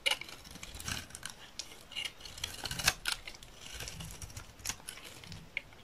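A solid, rectangular, dry green olive oil soap bar held in the hand is shaved into thin curls with a metal utility knife blade. A run of quiet, crisp, bright scraping strokes follows, each dry rasp dying away almost at once.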